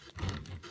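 A knife slices through a gluten-free flaxseed bread loaf, producing a rough, low-heavy crunching and rasping as the blade saws through the crust. The crunch confirms the baked crust is crispy on the outside, while the inside of the loaf is soft.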